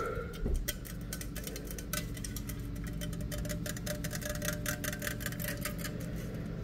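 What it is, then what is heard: Aluminum drink can. A small aluminum beverage can with a purple and yellow label and a drawn marking is held in both hands and tapped and scratched on its sides with the fingertips. Dense, quick, bright ticks and light scratches run throughout, each dying away almost at once. A steady low hum sits underneath.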